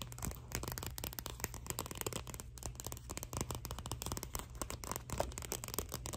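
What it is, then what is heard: Paperback book cover. Long nails scratch and tap the glossy paper cover of a thin Scholastic paperback picture book, "May I Please Have a Cookie?", held up in both hands. The result is a dense run of quick, dry ticks and papery scratches with bright edges, over a steady low hum.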